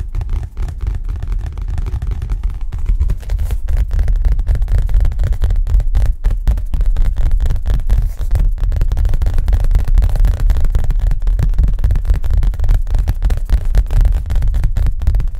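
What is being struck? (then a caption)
Collapsible fabric card on a wire rim. A round collapsible photography gray card, gray fabric stretched thin and taut over a flexible wire rim, is tapped fast with the fingertips like a drum. The result is a dense, steady stream of short, dull, low thumps with very little ring, getting slightly louder after the first few seconds.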